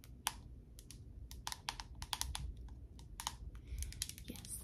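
A small plastic jar filled with brown body butter and closed with a white lid is held in both hands and tapped with long acrylic nails on the lid and sides. About twenty quick, dry, bright clicks come in irregular bursts with no ring, over a low, steady rumble.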